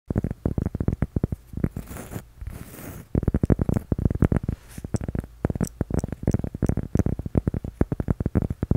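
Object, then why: Cork coaster. A flat, solid, toast-shaped cork coaster about the size of a palm is held in both hands and tapped rapidly with fingertips and short nails. The taps are dull, low, short knocks with almost no ring. Near the 2 to 3 second mark they pause briefly for a softer, hissy scratching sound.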